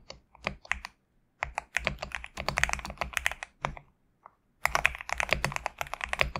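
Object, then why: Mechanical keyboard with PBT plastic keycaps. A GMK67 compact mechanical keyboard with PBT plastic keycaps, resting on a desk mat, is typed on with fingertips in uneven bursts separated by brief pauses. Each keystroke gives a short, crisp, bright clack with a little low thock beneath and almost no ring. The keystrokes run too fast and close together to count.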